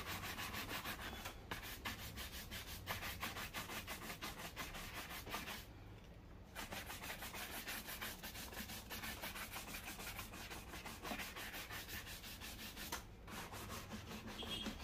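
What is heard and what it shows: A wooden-backed bristle shoe brush is rubbed quickly back and forth over the leather upper of a black leather loafer worn on a foot and held by one hand. The result is a fast, rhythmic, bright scratchy brushing over a steady low hum, with brief pauses near 6 and 13 seconds.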